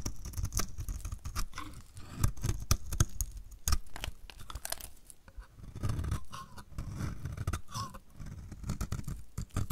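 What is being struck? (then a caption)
Bar of soap scraped by a metal blade. A metal utility blade repeatedly scrapes flakes off the edge of a solid, dry, purple striped bar of soap. The strokes give dry, crunchy scraping and crackling with sharp, brief ticks over a dull, low-heavy rasp, rising and falling steadily throughout.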